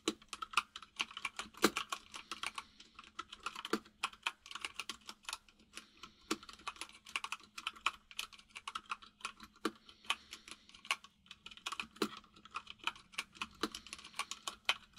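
Fingertips of both hands type on a full-size mechanical keyboard with white and grey plastic keycaps and a hollow case, producing a fast, irregular stream of short, bright, clacky key taps with occasional louder strikes. Each tap dies away almost instantly over a faint steady low hum.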